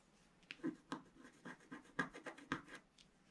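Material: Waxed paper.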